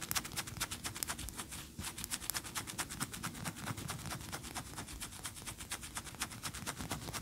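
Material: Wax.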